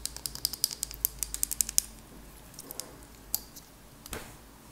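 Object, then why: Small glass candle jar. Long acrylic nails tap rapidly on a small glass candle jar with a purple label and a lid, holding solid wax. The taps make a quick run of sharp, bright clicks that die at once. After them come a few sparse taps and a brief soft scratch.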